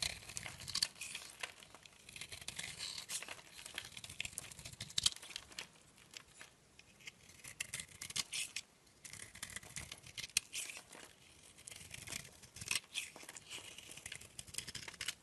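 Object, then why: Bar of soap. A metal blade scrapes and peels shavings off the surface of a solid, oval, light green soap bar held in a hand with long painted nails. The sound is quiet, dry scraping with crisp, bright rasps and crinkly peeling, concentrated in the high range with almost no low end. It comes in rapid bursts separated by brief pauses.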